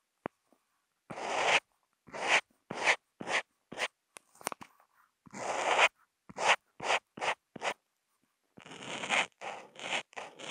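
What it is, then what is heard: Marker tip scratching on Kent paper. A Posca marker tip is rubbed across a flat sheet of white Kent paper in short, repeated hatch strokes, picked up by a contact mic mounted on the marker. Each stroke is a bright, dry scratching hiss with no low end, starting and stopping abruptly. The strokes come in quick bursts separated by brief silences, with a few faint ticks in between.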